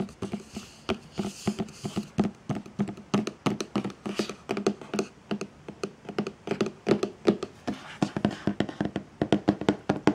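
Fingertips and painted medium-length nails tap and scratch the top and side of a large, hollow white Chanel cardboard gift box with black edges and its lid on. About fifty quick, dry taps land in an uneven rhythm, each a short hollow knock with a low-mid body that dies away almost at once. Faint scratching rustles fill some of the gaps.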